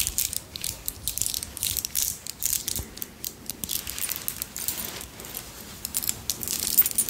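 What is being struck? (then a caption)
Strand of small round pearl beads. A strand of small, round, solid pearl beads, which may be real or imitation, is held in both hands close up while the beads are rolled, scratched with long nails and clicked against each other. Dense bursts of fine, bright clicking and scratchy rattling come and go, with very little low end.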